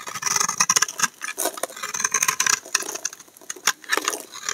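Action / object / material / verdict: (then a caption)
scrape / soap bar scraped with a steel blade / soap / none. A steel utility knife blade scrapes shavings off the embossed face of a solid cream-colored Dove soap bar held in one hand. Rapid, crisp, bright scraping strokes come in quick bursts, with little low end and almost no ring after each stroke.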